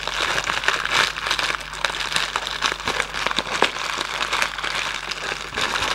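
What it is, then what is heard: Cardboard candy box being crinkled. A hollow Raffaello cardboard candy box is held and squeezed in the hand while its flaps are rubbed. Dense, bright crinkling and crackling runs steadily for about six seconds, with many quick, sharp snaps and almost no low end.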